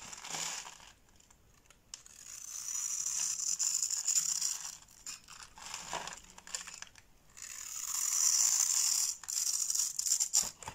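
A box-cutter blade scores lines into a solid white bar of soap held in the hand and shaves its surface. The result is a dry, bright scraping and crisp rasping that comes in bursts, with long, steady strokes broken by short, quick scratches and brief pauses.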